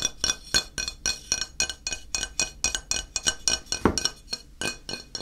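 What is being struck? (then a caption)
Stone or porcelain floor tile. A medium square grey stone or porcelain tile, flat and solid, is held tilted in one hand and tapped and scratched with the fingertips and nails of the other hand. It gives a quick, uneven run of bright, glassy clicks that die away almost instantly. One fuller, deeper knock lands near the four-second mark.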